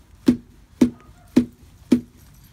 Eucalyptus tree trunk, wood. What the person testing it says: with that rot and that hollow sound